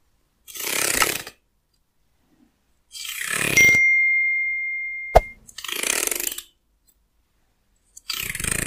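Fingernails scratch and pluck along the teeth of a light-colored, solid wooden hair comb, hand-sized and held in one hand. Four bright, raspy scratching passes are separated by silences. After the second pass, a clear ringing tone holds and fades for about two seconds before a sharp, sudden click cuts it off.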